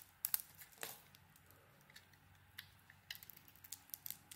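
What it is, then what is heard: Bar soap being carved. A utility knife blade scrapes and carves a hand-sized, solid oval green bar of soap with a speckled orange coating. Quiet, bright, crisp scraping clicks and short shaving strokes come in scattered bursts, with a few louder snaps near the start.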